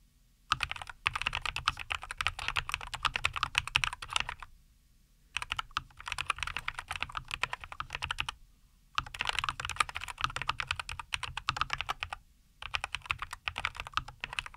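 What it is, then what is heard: Mechanical keyboard with plastic keycaps. Both hands type continuously with their fingertips on a NuPhy Air75 V2, a compact 75% mechanical keyboard with linear Cowberry switches, a white case and green and white plastic keycaps, resting on a wooden desk. Rapid, bright, clacky keystrokes come in four bursts separated by short silent pauses. Each press has a crisp, short click with a soft low thump beneath it.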